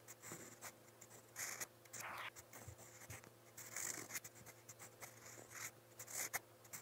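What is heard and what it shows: A steel fountain pen nib scratches across lined white paper in a motemote spiral notepad while writing. The result is a series of quiet, bright, dry scratching strokes in short bursts, over a faint low steady hum.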